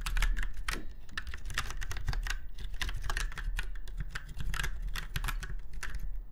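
Fingertips of both hands type steadily on a retro typewriter-style mechanical keyboard with round white keycaps set in chrome-look rings on a silver frame. Rapid, crisp clicky keystrokes with bright transients rattle along over a strong low hum throughout.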